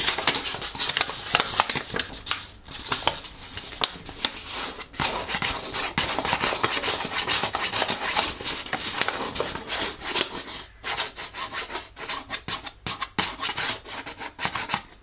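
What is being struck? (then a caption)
Thin folded paper leaflet. A thin, folded paper instruction leaflet is held in the hands as fingers and nails rub and crinkle it while unfolding it. The result is a dense, bright rustle of crackling and scratching paper with many short, sharp bursts. The sound thins into more separated crinkles toward the end.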